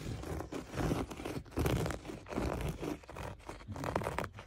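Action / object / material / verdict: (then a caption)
scrape / looped-pile berber carpet / carpet fibre / none. Fingertips and short nails of a bare hand scratch and rub the rough loops of a beige, flecked, looped-pile berber carpet lying on a floor, a large flat soft surface. Irregular bursts of dry, crunchy scraping rise and fall, heavy in low rumble with a faint bright hiss and no lingering ring.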